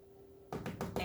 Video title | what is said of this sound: (107) HUGE EPIC WAVE Acrylic Dirty Pour Mixed Brands w/ Owatrol with Sandra Lett 060518 | this canvas as tight as a drum